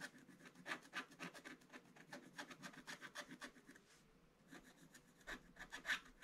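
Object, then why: Coated scratch-art paper scratched with a wooden stylus. A wooden stylus scratches the black coating off the numbered squares of a black-coated scratch-art paper page in a Paw Patrol advent calendar scratch book, which lies flat on a table while the other hand holds it. A quiet, rapid series of short, dry rasping strokes is heard, bright and centered around 1.7 kHz, with a brief lull near the four-second mark before the scratching resumes.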